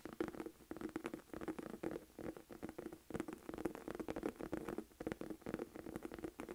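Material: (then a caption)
Leather. Long acrylic nails tap and scratch the flat front face of a small, hollow black Michael Kors saffiano textured leather crossbody bag held up in both hands. A quiet, steady run of quick, dry taps with a hollow low-mid tone around 330 Hz is heard, mixed with soft scratchy rustling. Each tap dies away almost instantly.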